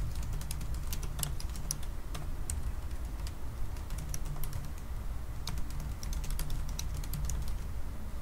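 Both hands type continuously with their fingertips on the black plastic keys of a silver aluminium laptop keyboard. Quick, short, bright clicks patter unevenly over a steady low hum, and the level stays even throughout.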